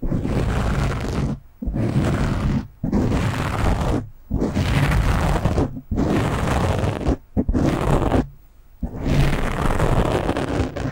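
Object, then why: Foam microphone windscreen. Both hands scratch and rub a black foam windscreen on a microphone with fingertips and short nails. The result is a dense, low, rumbling scratch in several long bursts separated by brief silences.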